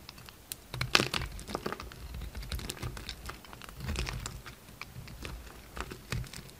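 A solid yellow-orange bar of soap, held in the hand, is shaved into flakes with a red utility knife. A quick series of crisp, crinkly scrapes and short, sharp cuts rings out, each with a bright edge over a soft low thump.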